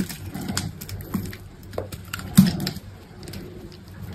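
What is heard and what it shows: A solid green bar of soap held in the hand is cut and scraped into small cubes with an orange utility knife blade. Long pink nails are on the hand. Soft scraping and cutting textures repeat over a low, muffled background, with the loudest crunch near the middle.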